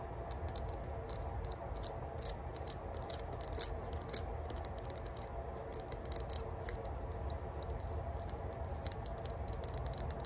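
Long burgundy nails tap and scratch a small, hollow, cylindrical rose-gold metal herb grinder, moving from its flat top to its ridged side. Quick, bright metallic clicks and scratchy rasps come in uneven bursts over a steady low rumble. Each tap is short and dry, with almost no ring.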